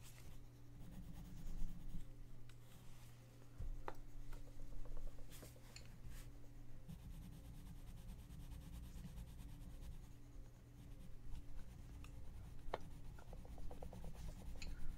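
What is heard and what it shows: A gloved hand shades the page of an open paper coloring book lying flat with a pink colored pencil, rubbing in strokes. A soft, steady scratchy rubbing is heard, with a low hum underneath and occasional faint clicks.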